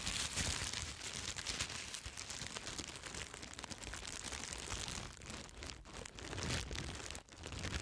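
A large sheet of clear plastic bubble wrap with air-filled bubbles is held upright in front of the microphone while long red acrylic nails scratch and press it, popping the bubbles. Dense, bright crinkling and scratching run throughout, punctuated by sharp, quick pops. The sound is nearly continuous, with only a brief quiet dip near the end.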